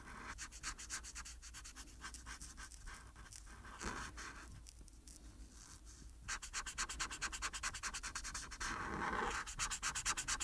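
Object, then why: Felt-tip marker on paper sheet. The felt tip of a hand-held marker rubs across a thin white paper coloring page lying flat on a table, scribbling in rapid strokes to fill a black area. Quick, bright, scratchy strokes repeat in a steady back-and-forth rhythm, thin out briefly in the middle, then return faster and louder toward the end.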